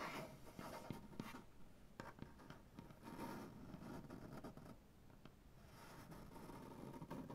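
Fingernails slowly scratch and rub across a solid light wood butcher block tabletop with both hands. The sound is a quiet, dry scraping texture with a low, woody body and occasional sharp ticks as the nails catch the grain. It swells and fades unevenly throughout.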